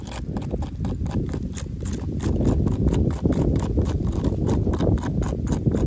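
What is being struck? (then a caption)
Corrugated plastic fence top cap. Long pink acrylic nails tap and scratch along the ribs of a corrugated yellow plastic safety cap, a hollow ribbed tube on top of a chain-link fence. Quick, irregular clicks blend with a dull, low-heavy scraping rustle that stays fairly steady, with short bright ticks on each tap.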